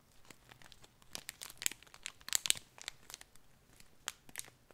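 Fingers crinkle and rub a thin clear plastic packet with a cardboard header, filled with coarse multicolor glitter. Quiet, bright, dry crackles and rustles come in short bursts, with the loudest crinkles near the middle and a sharp snap toward the end.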